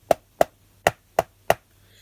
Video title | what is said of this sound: A second look at knock off Harry Potter wands | Can you hear that slight difference? That's because this has a metal core to it.